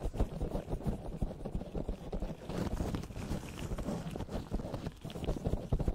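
Both hands in latex gloves rub, tap, cup and knead a soft, porous black foam windscreen over the capsule of a desktop USB microphone with fingertips and palms. The result is a close, muffled, low rumbling crackle with soft thumps and rustling bursts, almost no bright content, and no ringing after each touch.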